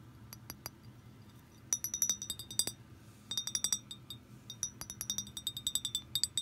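Long green nails tap on the neck and body of an empty clear glass liquor bottle with a threaded neck and a blue label. Bright, short glassy clinks come in quick clusters separated by quieter pauses, each tick dying away almost at once over a faint low background hum.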